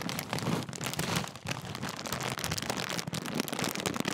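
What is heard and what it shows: The sealed top of a large Walkers crisp bag made of metallised plastic film is crumpled and rubbed between fingers. It gives a dense, continuous crinkling and crackling that spans low body through bright, high hiss. The sound holds steady with brief dips around 1.4 and 3.1 seconds.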